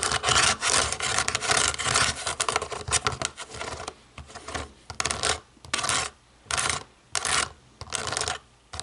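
Long nails work over the rubber buttons of a small, hollow black plastic DVD remote control. A dense, bright scratching and tapping rasp fills the first half, then breaks into separate short bursts with quiet gaps between them.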